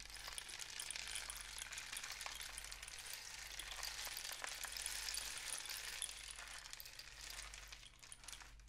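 A long, hollow, painted cardboard rain stick is held horizontally in both hands, tilted and shaken while fingers tap the tube. It makes a continuous bright, sizzling patter of tiny rattling clicks that stays fairly steady, easing slightly near the end, over a faint low hum.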